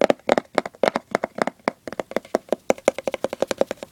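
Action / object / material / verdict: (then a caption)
tap / cardboard gift box lid / cardboard / none. Short-nailed fingertips scratch and tap across the lid of a hollow, printed cardboard gift box with a Santa design. About 28 quick, dry taps land in an uneven rhythm, each with a short hollow resonance in the mid range and a light papery click on top. Faint scratching fills the gaps between taps.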